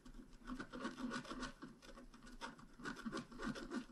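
A pointed wooden stylus scratches across a flat, black-coated scratch art card about A4 in size. It makes a steady run of soft, dry rasping strokes that rise and fall in loudness, with a mid-range rubbing tone and brief scratchy bursts.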